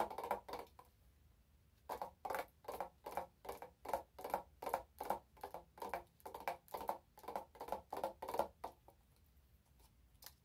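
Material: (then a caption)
Glass. A wide glass candle jar filled with orange wax is turned in the hands and tapped and scratched with long nails. Quick, dry tapping bursts with a mid-range body around 570 Hz and bright edges come in an uneven rhythm, after a short pause near the start. The sounds die away almost immediately, with faint scratching between taps.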